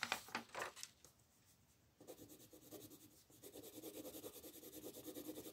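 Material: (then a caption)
Paper. A green colored pencil, held in the right hand, shades small areas of a flat paper coloring page on a table in short scratching strokes while the left fingers hold the paper. A few sharp, bright scratches open the clip, then after a brief near-silent pause a steady run of quick, dry, rhythmic scratching strokes continues and grows slightly louder toward the end.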